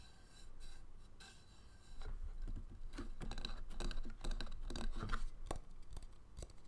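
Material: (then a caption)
Wood. An empty, hollow wooden bowl resting on a tray and then held upside down is tapped and scratched with fingernails. Quiet scratchy rubbing gives way, after about two seconds, to louder quick, irregular dull taps mixed with scratching, each tap dying away almost at once with a dry, low-weighted sound.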